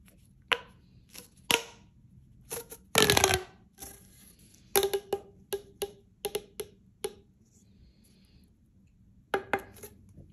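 A single hollow, light-blue corrugated plastic pop tube is held in both hands and bent and compressed with fingertips and manicured nails, making its ridges snap and click. About 17 short, bright clicks and pops come in irregular clusters separated by quiet gaps, each with a brief hollow ring near 430 Hz. The loudest is a dense crackling burst around the three-second mark.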